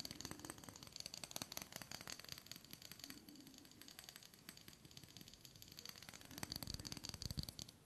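Fingers tap and handle a small clear glass jar with a glass lid, held in both hands, that holds shells or small objects with dark contents in its lower part. Quiet, rapid, sharp clicks and light rattles sound through the whole clip, bright and dry with almost no ring, over a soft low rumble.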